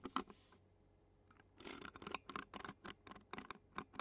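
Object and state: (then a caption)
Metal mesh microphone grille being scratched. The tines of a clear plastic fork scratch the black metal mesh microphone grille of a handheld Zoom recorder while a long-nailed hand rests on the recorder's body. Two sharp scrapes and a soft hiss are followed by a quiet pause, then a quick run of short, bright, raspy scratches up close. Each scratch stops dry, with no ring.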